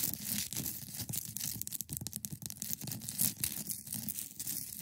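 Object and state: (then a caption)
Clear ice block scratched and tapped. Long nails scratch and tap the top of a hand-sized solid block of clear ice resting on a fabric surface. The sound is a steady, dense, bright scraping, broken up by quick crisp taps with a soft low body beneath them. Each tap dies away almost instantly, and the sound stays quiet throughout.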